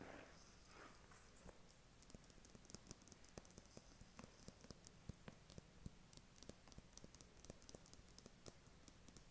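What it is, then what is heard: Cardboard palette box. A flat, thin, hollow white cardboard eyeshadow palette box is held in the hand and tapped with short fingernails. The result is a steady run of quick, quiet, dry clicks with a soft hollow low thump under each bright tick and no ring, over a constant low background hum.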